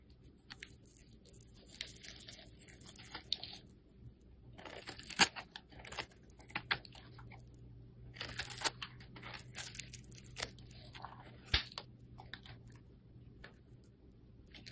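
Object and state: Soap bar being carved.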